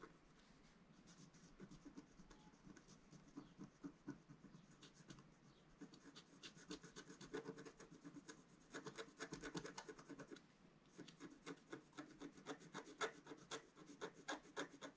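A wooden stylus scratches stripes into a planet drawing on a flat sheet of black-coated scratch-art paper held by the left hand. Quick, short rasping strokes repeat at about four per second, each a dry scrape centered in the midrange with a bright, crackly edge. The strokes come in uneven bursts over a faint background hiss.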